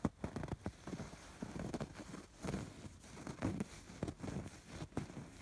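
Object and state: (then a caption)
Embroidered fabric pillow. Fingertips and nails scratch along the stitched rows of raised embroidery on a soft, stuffed fabric pillow. The result is a quiet series of short, dry scratching bursts with a muffled, low-heavy tone and little brightness, each fading almost at once.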